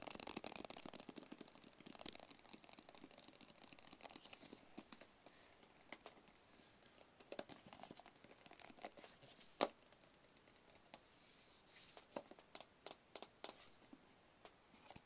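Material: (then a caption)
Cardboard. A small, hollow, handheld white rigid paperboard phone box is tapped and scratched with fingertips and nails. Quiet, bright, dry taps and scratchy, crinkly rustling repeat throughout, each tap dying away almost at once with little low end. Near the middle comes one sharper, louder tap, and a brief hissy scrape follows later.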